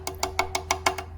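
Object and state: Carbon fiber bike frame, not cracked.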